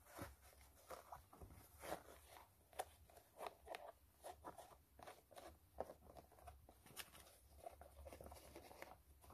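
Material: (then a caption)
Canvas. Long nails scratch the white canvas upper and laces of a low-top sneaker, making quiet, dry, rasping strokes in quick irregular bursts. Each scrape is short and stops dead with no ring, centered in the low mids over a faint low hum.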